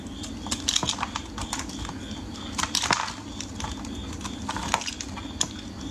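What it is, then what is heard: Bar soap being shaved. A metal craft blade scrapes and shaves a solid, palm-sized green bar of soap held in fingers wearing cut-resistant finger guards. Quick, dry, crunchy scratching and cutting strokes crackle brightly and irregularly over a faint steady low hum.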